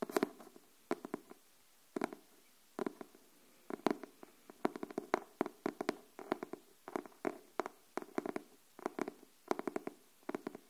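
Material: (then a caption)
Cardboard. Long nails tap and scratch on a pink cardboard hardcover paper notebook, moving from the cover to the spine and then the page edge. Quick, dry, soft taps come in clusters and pairs with short pauses, each dying away almost at once. The sound is quiet and centered in the low-mid range, with little deep bass and only faint bright scratchy edges.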